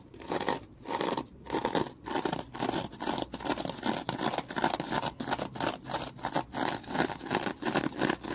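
A small rectangular foam kitchen sponge, gripped in the hand, is squeezed and scratched with the fingers. The result is a close, steady run of rhythmic scratchy, crackling bursts that swell and fade about once or twice a second. The sound is dry and crisp, centered in the mids with little low end.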